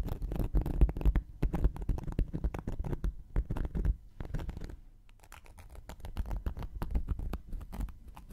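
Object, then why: Cork coaster scratched with a wooden needle. A thin wooden knitting needle scratches and pokes the surface of a round, flat, solid cork coaster held in one hand. It makes a dense, irregular run of dry, muffled scratches and soft taps, heavy in the low end with almost no ring. The scratching eases to a quieter stretch around the middle before picking up again.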